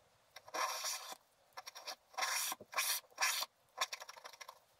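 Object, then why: Wax-coated scratch art paper scraped with a wooden stylus. A wooden stylus scrapes the black wax coating off a flat sheet of scratch art paper, lifting curls of wax. Several longer, dry, bright scraping strokes alternate with short, crisp scratches and ticks, with no low end and quiet gaps between strokes.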